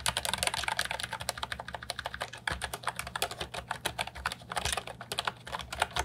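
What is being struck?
Plastic mechanical keyboard with round keycaps.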